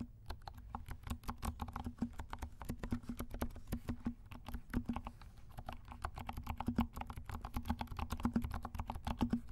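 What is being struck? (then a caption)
Plastic mechanical keyboard. Fingertips of both hands type steadily on a compact black mechanical keyboard with silent switches and black and pink plastic keycaps. The result is a quick, uneven stream of soft, muffled clicks and dull taps. A faint low hum sits underneath throughout.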